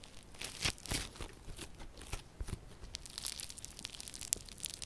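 A solid yellow crunchy slime lump with a foam-bead texture is squeezed and kneaded by both hands with long purple nails. It gives off quiet, irregular crackling and crunchy popping, with bright snaps over a soft low rustle.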